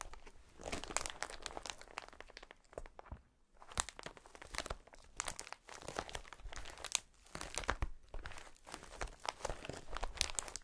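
A clear polyethylene air-filled cushion packaging sheet is held against the chest and rubbed and squeezed by a hand in a fingerless glove. The result is dense, bright crinkling with sharp plastic crackles in close bursts, separated by brief quieter pauses.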